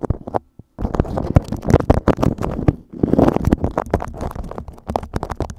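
A sheet of beeswax-coated cotton food wrap lies over a microphone while fingertips rub, scratch and crinkle the waxed cloth. Dense, close, rumbling crackles and scrapes fill the clip, heavy in the low end, with a brief pause near the start before the rubbing continues steadily to the end.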